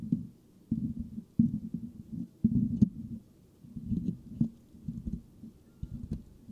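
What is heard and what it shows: The fingertips of both hands scratch the rounded, hollow metal mesh grille of a white microphone. Each stroke comes through as a muffled, low rumbling rasp centered near 200 Hz, in uneven bursts with short quiet pauses between them. There is almost no high-frequency content.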